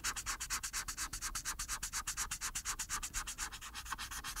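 The felt tip of a hand-held marker rubs in rapid scribbling strokes across a thin white paper coloring page lying flat on a table, filling in a black area. Each stroke makes a short, bright, papery scratch, and the strokes repeat in a quick, fairly steady rhythm of about eight per second.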